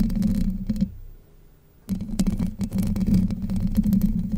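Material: Steel mesh.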